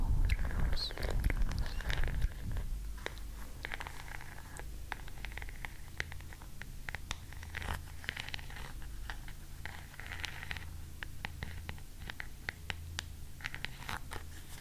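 Long nails scratch and tap the ornately carved back of an oval wooden hairbrush held close by the ear. Quick, sharp, bright clicks and scrapes come in an uneven patter over a steady low hum. The first couple of seconds are louder and busier before the tapping settles into a softer, continuous rhythm.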